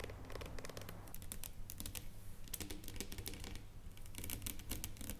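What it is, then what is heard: Dark chocolate bar. Long nails tap rapidly on a solid dark chocolate bar lying on foil on a table. The result is a fast, continuous run of sharp, bright clicks that die away almost instantly, over a steady low hum.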